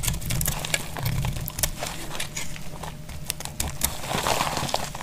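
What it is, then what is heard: Dry bar soap, scraped. A utility knife blade scrapes crunchy flakes off a partly carved, solid lilac dry purple bar soap held in the hand over a pile of shavings. The result is a steady, crisp crunching and scratching texture with bright, sharp ticks scattered throughout over a low, dull rumble.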